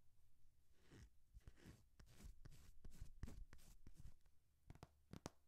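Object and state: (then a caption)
Hardcover paper textbook. Painted nails scratch and tap along the top cover and paper page edges of a thick hardcover textbook held horizontally. The result is quiet, dry scratching with short, sharp taps and crinkly paper rustles.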